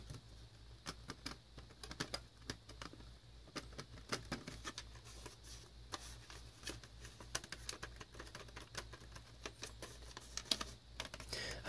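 Fingertips and nails tap quickly across the paper label, back and spine of a hollow black plastic VHS tape cassette held in the hands. Each tap is a short, dry, bright click with almost no ring. The taps fall in an uneven stream over a steady low hum.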